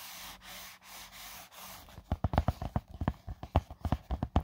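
Flat fingertips rub across the fine-weave fabric lid of a closed, small, hollow black drone carry case with a hard EVA shell, giving about two seconds of steady, airy scraping strokes. The sound then turns into a quick run of about 16 short, dull knocks with a low, hollow body and almost no ring.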